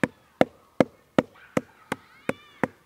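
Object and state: Decayed base of a tree trunk.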